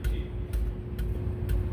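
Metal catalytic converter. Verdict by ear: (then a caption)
Solid. Metal catalytic converters under a 2015 Ford 3.5L Ecoboost are tapped to check for internal rattling, giving short, dull knocks over a steady low hum. No loose, rice-like rattle follows the taps; the converters sound solid and intact, so only the O2 sensor needs replacing.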